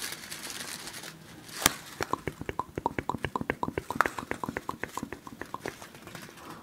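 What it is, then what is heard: Plastic snack wrapper crinkled. A small yellow printed plastic snack wrapper is held right next to a grey microphone windscreen and crinkled and scratched with fingertips. A soft rustling hiss builds to one sharp crackle, then gives way to a quick, steady run of crisp, bright ticking scratches that fade toward the end.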